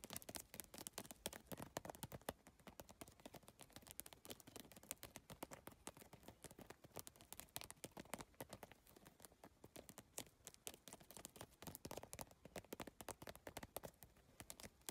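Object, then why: PVC tile bag. Long nails tap quickly on a holographic geometric PVC tile bag covered in iridescent triangular plastic tiles. A dense, steady stream of crisp, bright plastic clicks runs the whole clip, each tap dying away almost instantly with little low-end weight.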